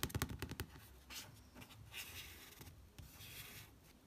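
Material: Card, paper.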